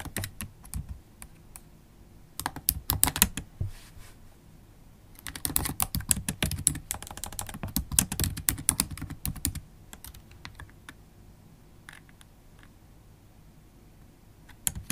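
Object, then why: Laptop keyboard, plastic keycaps in an aluminium body. Long holographic acrylic nails type on a MacBook Pro keyboard with black plastic keycaps set in an aluminium body. The result is quick, irregular runs of sharp, bright clicks with a soft low thump beneath. The typing comes in dense bursts around the 3-second mark and from about 5 to 9.5 seconds, with sparse, scattered taps in between and a final couple of clicks at the end.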